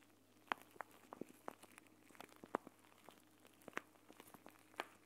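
A clear plastic gel bead eye mask filled with green gel beads is held in both hands and squeezed and scrunched. This gives quiet, irregular crinkles and sharp clicks from the plastic, with very short, bright snaps over a faint steady low hum.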